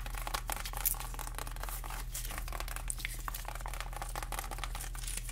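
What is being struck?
Whole pineapple with spiky rind.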